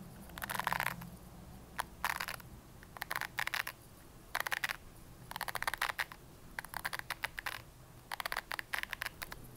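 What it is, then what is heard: Plastic hairbrush bristles. Long nails flick and scratch the white bristles of an upright red plastic hairbrush, making bursts of crisp, bright, ticking clicks that come in quick clusters separated by short quiet gaps. Each click dies away almost instantly over a faint low background hum.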